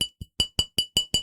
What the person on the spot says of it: You can hear the little glass there that I'm tapping on.